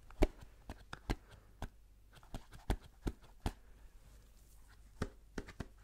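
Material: Cardboard.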